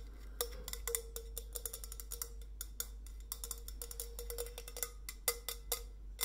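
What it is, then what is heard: Stainless steel insulated bottle. Long fingernails tap the body and steel cap of a white, coffee-bean patterned stainless steel insulated bottle as it is rotated in the hands. A rapid, uneven series of short, bright clicks follows, each with a faint ringing tone near 480 Hz that dies away almost at once, over a steady low hum.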